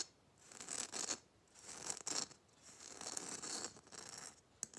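Fingernails tap and scratch quickly over the rough glitter surface of a small hollow red plastic Christmas bauble with a metal cap. The result is a series of bright, dry, hissy rasping bursts in the high frequencies with almost no low end and no ring, separated by short pauses and ending with a sharp tick.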